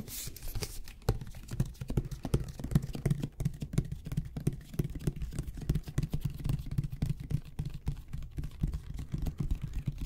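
Fingertips and nails rapidly tap and scratch a medium white plastic squeeze bottle of glue with an orange cap and a paper label, likely partly full, held close to the microphones, with mouth sounds possibly mixed in. The taps come as a dense, uneven patter of short, soft, dull knocks weighted heavily toward the low end, with no ring after each one. A brief bright scratchy hiss comes at the very start.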